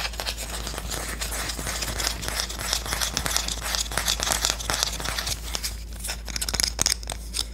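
A Korean wooden spoon is tapped and scratched. Dense, dry scratching and crackling runs throughout, broken by many quick, sharp taps that grow louder toward the end, over a steady low hum.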